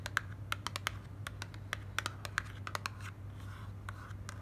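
Long black nails tap and scratch the front of a slim white printed paperboard moisturising-cream box held in the hand. A quick, uneven series of sharp, dry, bright clicks dies away instantly, with faint scratchy rustles between them over a steady low hum.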